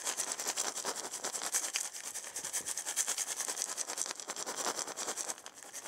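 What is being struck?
Wooden maraca with loose filling.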